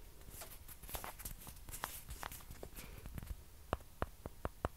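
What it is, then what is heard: Plastic ping pong ball. Long fingernails tap on small, hollow, white plastic ping pong balls held close to the mic. The result is a steady patter of quick, dry clicks with almost no ring, and a few sharper, brighter taps stand out toward the end.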